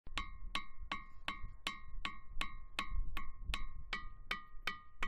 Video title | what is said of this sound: Documentada una nueva tipología de litófonos en El Hierro | son los sonidos que nacen de estas formaciones